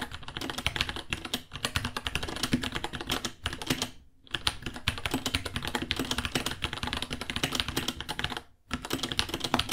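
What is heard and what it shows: Fingertips of both hands type steadily on a white 66-key mechanical keyboard with Gateron Brown switches, plastic keycaps, pink underglow and a hollow case, about 30 cm long and resting on a white desk. Rapid, bright clacky key strikes come in dense bursts, with short pauses around 4 and 8.6 seconds. Each clack is short and dry with a slightly hollow body.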